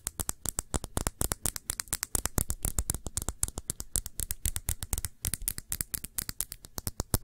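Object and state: Glass perfume bottle.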